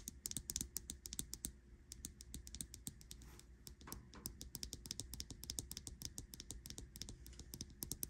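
Long acrylic nails tap and click rapidly on the glass screen and metal case of a small smartwatch with a printed silicone band, lying on a bedsheet. The quick, sharp, bright clicks stop dead with no ring, over a steady low hum.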